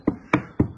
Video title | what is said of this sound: MORGAN 4/4 1600 CROSSFLOW 1972 www.catlowdycarriages.com | I'm tapping it for you so you can see that it's solid